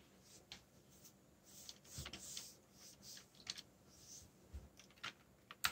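Bare fingertips with short nails, one finger bandaged, type rapidly on a black, yellow-backlit mechanical computer keyboard with plastic keycaps labeled in Korean and English. About ten quiet, bright, short key-press clicks and taps are heard, each dying away almost instantly over a soft background hiss.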